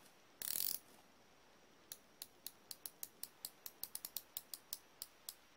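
A hand-held chrome steel combination wrench with a solid metal flexible ratcheting ring head is worked by fingers and thumb pivoting the hinged head. A brief bright metallic clatter from the joint comes first, followed after a pause by a steady run of sharp, high ratchet-pawl clicks. Each click is crisp with a short ring against a quiet background.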